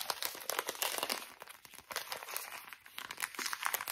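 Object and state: Plastic wet wipes packet.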